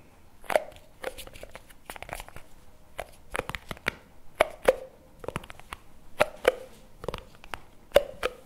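A small, round plastic jar of chocolate spread with a printed label and lid, apparently full, is held in both hands and tapped and scratched with fingertips and nails on its lid and sides. Irregular bursts of sharp, dry clicks and scratchy crackles alternate with louder taps that give a brief hollow tone around 570 Hz. Each sound dies away almost instantly.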